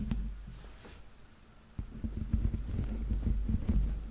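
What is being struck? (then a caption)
Stuffed plush toy foot with textured rubber sole. Fingernails tap and scratch the grey, textured, rubber-dotted soles on the soft stuffed feet of a yellow Laa-Laa Teletubby plush held close to the mic. A faint, quiet stretch gives way to a denser run of dull, low, muffled taps and soft scratching that die away almost instantly, with no bright content.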